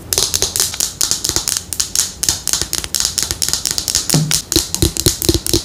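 Long nails tap rapidly and irregularly on a small teal plastic Neutrogena bottle with a silver cap held in the hand. The result is a steady stream of short, bright, clicky taps with hollow plastic knocks and almost no ring.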